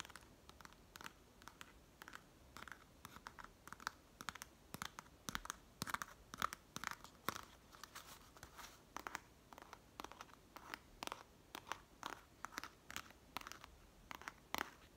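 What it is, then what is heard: Woven palm leaf pouch. Long nails scratch and tap the woven surface of a hand-sized, hollow pouch made of dried, woven green palm leaves. The result is a quiet, steady stream of dry, crisp, crunchy scratches and sharp little taps, bright and papery with a focus near 1.3 kHz. Each sound stops instantly with no ring.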